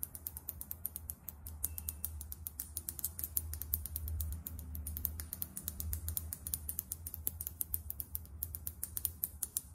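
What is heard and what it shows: Long acrylic nails tap quickly on a small, filled foundation bottle and its plastic cap. The result is a rapid, steady stream of short, sharp, bright clicks that end almost instantly, over a low, constant hum.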